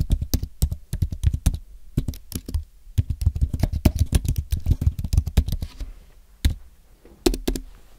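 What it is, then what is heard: Aluminum and plastic keyboard being typed on. Fingertips type on a thin, solid white Apple Magic Keyboard with an aluminum base and plastic keys, resting on a desk. Bursts of quick, dull, low key taps with short pauses between them are followed by a few isolated presses near the end. Each tap is soft and thuddy with almost no ring.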